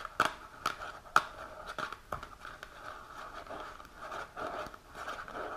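Long natural nails tap and scratch across the front and sides of a small, hollow printed cardboard supplement box held upright. A few sharp, crisp taps come first, then a steady dry scratching with a papery, hollow midrange tone around 1.3 kHz and bright edges.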